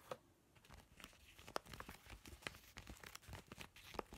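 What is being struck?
Laminated woven plastic zipper pouch.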